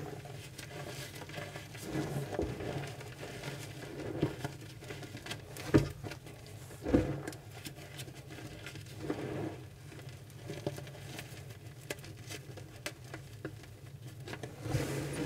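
Chalk-covered fingers press, rub and crumble a flattened pile of pink gym chalk (magnesium carbonate) powder with small lumps on a flat surface, crushing the small lumps. Soft, low, muffled patter and gritty rubbing run throughout, with short crunchy crumbles and a couple of louder, sharper crushes around the middle.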